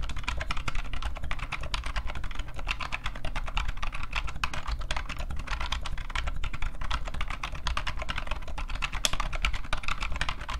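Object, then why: Plastic rubber dome computer keyboard. Both hands type rapidly with their fingertips on a new old stock IBM PCjr keyboard, an off-white plastic board with a hollow case and rubber dome keys. A dense, continuous stream of short, dull clacks and taps fills the clip; each keystroke dies away almost instantly over a steady low rumble.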